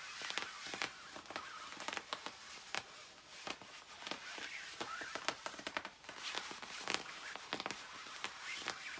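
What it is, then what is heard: Nylon puffer jacket. Long acrylic nails scratch and rub the padded back of a glossy black quilted nylon down puffer jacket worn by someone lying face down on a bed. Crisp, bright scratching strokes and sharp little swishes rise repeatedly over a steady, soft nylon rustle. The sound stays quiet and airy, with almost no low end.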